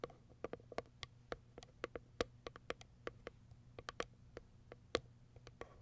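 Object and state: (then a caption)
Cardboard box with plastic window. Long white acrylic nails tap and scratch the clear plastic window and lid of a small, empty white Kiara Sky cardboard product box resting on fur. About two dozen quiet, sharp, irregular taps each give a brief hollow tick with a slight ring near 480 Hz and bright clicky tops. Faint scratching and a low steady hum fill the gaps between them.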